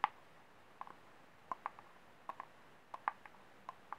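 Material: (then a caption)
Plastic. Fingernails tap and scratch the base rim and ribbed wall of a small, empty, ribbed white disposable plastic cup held sideways. The hollow cup gives a series of short, dry clicks centered around 850 Hz, spaced irregularly over quiet background hiss. Each click dies away almost instantly.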